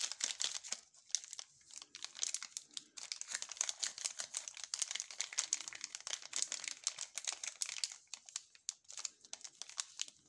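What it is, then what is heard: Plastic wrapper crinkling. A sealed, full Funny chock bar in a long, thin blue plastic film wrapper is rubbed, flexed and turned over by gloved fingertips. It makes a dense, continuous crinkling with many quick, bright crackles and almost no low end.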